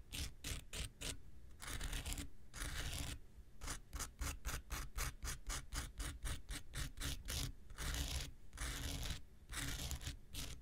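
A palm-sized, pink rectangular nail buffer block of solid foam with an abrasive surface is held in one hand and scratched with the tip of an x-acto knife blade. An uneven run of quick, short scratching strokes gives bright, rasping scrapes over a low rumble, with a few longer drawn-out rubs in between.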